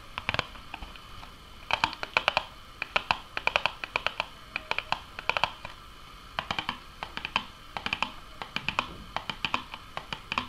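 Long nails tap on a small, hollow Nuggets cardboard box with bottom flaps and an orange side full of holes. The result is quick, dry, bright clicks in uneven bursts with pauses between them. Each tap dies away almost instantly, and the tone centers around 2.8 kHz.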